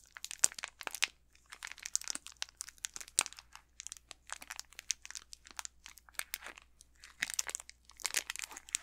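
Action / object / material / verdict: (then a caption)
scrape / candy bar in a thin plastic wrapper / plastic film / none. Fingertips with manicured nails squeeze and crinkle the thin plastic wrapper of an unopened, full-size Snickers chocolate bar with the solid bar inside. Dense, rapid crinkling and crackling bursts, bright and high with almost no low end, come in clustered flurries separated by brief pauses.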